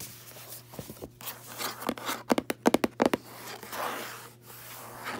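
Fingertips and long nails scratch and rub the cream paper endpaper inside the cover of a red hardcover book lying open on a bed. Soft rustling and scraping build into a cluster of sharp, dry nail taps and scratches near the middle, then ease back into quieter rubbing.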